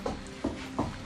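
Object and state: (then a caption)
Hollow-sounding drywall party wall. Knuckle knocks on the drywall of a shared party wall between two townhouses give three dull, hollow-sounding thuds with a low, boomy body and short ring. The hollow sound signals poor soundproofing: a neighbour's paint roller could be heard through the bedroom wall, and the wall was later opened, insulated and retrofitted.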